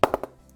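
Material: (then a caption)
Willow. Four quick, sharp taps on the lower blade of an SS Gladiator 2020 willow cricket bat produce short, bright knocks centred around 550 Hz that die away almost instantly. The response down there is good, a sign of solid quality.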